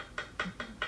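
Four light taps on the unhardened part of a willow wood bowdrill spindle, tested against its fire-hardened tip. Each tap is short, dull and evenly spaced, dying away almost at once with a midrange tone. It gives the soft sound of good, unhardened spindle wood.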